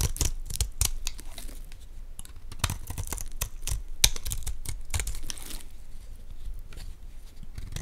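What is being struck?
Olive oil bar soap scraped with a metal blade.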